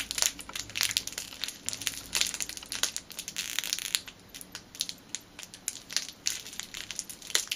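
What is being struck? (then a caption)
Clear plastic bag with a rubber band inside. A clear plastic bag holding a black rubber band is crushed and crinkled tightly between the fingertips. It makes dense, bright crackling with many short, sharp snaps that die away almost instantly, and almost no low end.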